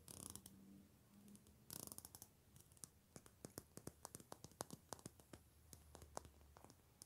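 Long pink-painted nails flick and scratch the long, wide-spaced teeth of a black plastic wide-tooth comb held in the hands. Two short bursts of dense, bright scratching open the clip, then dozens of sharp, separate plastic ticks and clicks follow, each dying away almost instantly over a faint low hum.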